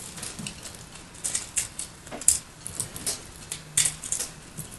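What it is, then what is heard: Soap block being carved. A solid, roughly cube-shaped block of white soap with purple flecks is held in one hand with long light nails while the other hand carves and scrapes it with a small metal blade, piling shavings onto a purple surface. Soft, crisp, bright scraping and cutting strokes come in irregular bursts over a quiet hiss, each stroke dying away almost instantly.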